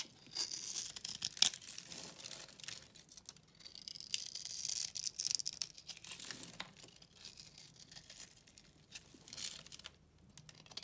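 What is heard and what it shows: A solid white bar of soap with a cross-hatched face is held in the hand and cut and scraped with a utility knife blade. The result is a dense run of dry, bright crunching and scraping sounds with quick crackly bursts and very little low end.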